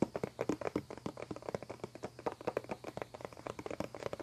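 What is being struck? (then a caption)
Plastic CD spindle case with dome lid. Fingertips and nails rapidly tap and scratch a medium clear plastic CD spindle case, a hollow dome lid over discs, resting on a table. The result is a quick, dry run of short, hollow plastic ticks with a light scratchy texture. The taps centre around 330 Hz and die away almost instantly.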